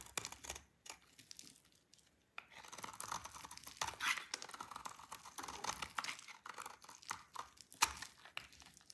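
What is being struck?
Soap bar shaved with a blade.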